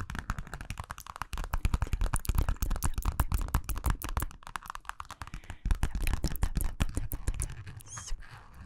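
A small, hollow purple metallic vinyl zippered pouch is held close and scratched and tapped with long nails and fingertips. Dense, quick, irregular taps and scratches with a deep, boomy low end run throughout, over a soft crinkly texture, easing off near the end.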